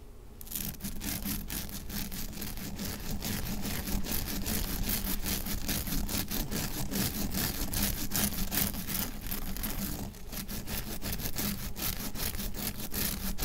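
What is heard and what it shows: Fingertips and nails scratch and rub across a palm-sized, flat, fibrous, rectangular white nonwoven synthetic scour pad with blue soap swirls, lying on a dark counter. The result is a steady, rough, bristly scraping made of quick repeated strokes with bright, hissy texture over a low undertone. It pauses briefly near the ten-second mark before resuming.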